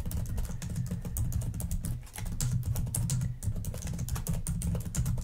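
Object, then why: Plastic laptop keyboard. Long nails type very fast on a black plastic laptop keyboard, making a dense stream of sharp, bright clicks. A steady low hum sits under the clatter, with brief lulls near the 2-second and 3.4-second marks.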